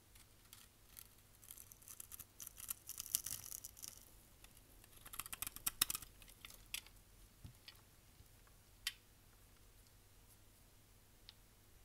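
A solid dry brown soap bar held in hand is scraped with a utility knife blade, shaving thin curls and crumbs off its surface in quick, bright, crisp scratches and clicks. The scraping is busiest in the first seven seconds, then thins to a few sharp ticks as the bar is set down beside the pile of shavings.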